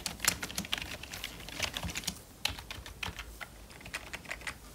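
Purple nitrile-gloved fingertips type and tap on the keys of a full-size black plastic membrane computer keyboard with a hollow casing. A steady run of quick, bright plastic clicks and taps rises and falls in loudness, each dying away almost at once with little low-end body.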